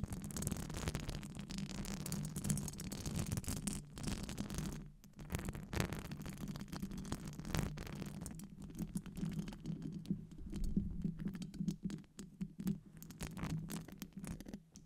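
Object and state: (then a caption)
Metal mesh microphone grille tapped and scratched with nails. Long acrylic nails tap and scratch across a hollow metal wire-mesh microphone grille, Blue Yeti-style. Dense, rapid clicks and rasping scrapes run throughout, with a steady low hum around 160 Hz under faint bright edges.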